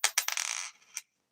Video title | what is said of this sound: Thursday nite Chat with T~BIRD Stacking is live! | It sounds like copper to me.